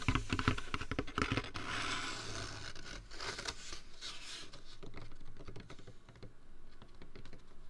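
A large, hollow, apparently empty white Jack in the Box foam drink cup is held in hand beside a binaural microphone ear and scratched and tapped with fingertips and nails. Quick, irregular taps give dull, low, hollow knocks, mixed with bright, hissy scratching that swells in the middle of the clip. The sound stays close and dry throughout.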